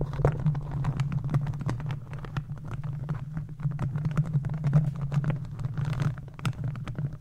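The plastic claw tips of green and black gardening gloves scratch across the hollow metal mesh grille of a microphone. A dense run of quick, crackly scrapes and ticks rides over a steady low hum, with most of the energy sitting deep and little brightness.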